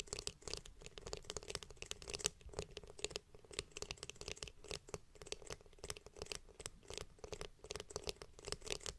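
Long painted nails tap and scratch rapidly across the back of a glossy blue, hollow plastic hairbrush shell. The result is a dense, steady stream of dry, bright clicks and scratchy strokes with no ring after each tap.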